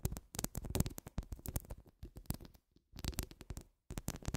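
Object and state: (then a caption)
Metal mesh microphone grille being scratched. Long acrylic nails scratch over the grille of a round, hollow metal mesh microphone head. The result is a close, dense run of quick scraping strokes, mostly deep and rumbling with faint bright edges, broken by a couple of short silent pauses.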